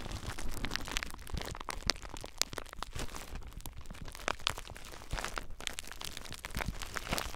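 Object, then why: Plastic bubble wrap. Fingertips with short nails squeeze clear plastic bubble wrap bundled around a recorder, popping the bubbles. Dense, continuous crinkling and crackling is punctuated by sharp, bright pops, over a low rumble from the wrap pressing against the recorder.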